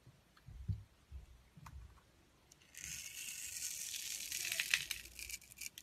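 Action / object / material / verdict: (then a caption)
scrape / clear glycerin soap bar / glycerin soap / none. A translucent yellow glycerin soap bar with glitter, held in the palm, is scraped and shaved with a wide metal blade, sending fine flakes off. A few soft, low handling thumps come first, then a steady, bright, hissy scraping starts partway through and grows slightly louder toward the end.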